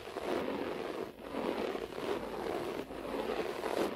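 Both hands with long natural nails scratch and rake the fibers of a low, cream-beige short-pile floor carpet on a flat, solid surface, using fingertips and nails. A continuous, dense scratchy rasp centered around 300–600 Hz runs through the clip, with brief dips near 1.1, 1.9 and 2.8 seconds as the strokes change.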